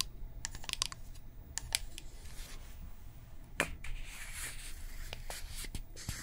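Long painted nails tap a hand-held, hollow, apparently filled blue-and-white plastic toner bottle with a white cap. The taps are crisp, bright and clicky with almost no ring, scattered irregularly over a steady low hum.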